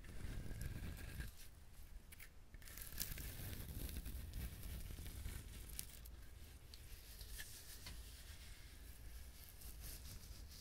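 Fingernails scratch and tap the fibrous husk of a whole, dried, brown husked coconut. The result is a steady stream of dry, rasping, tearing-like scratches with crisp clicks, over a low, close rumble.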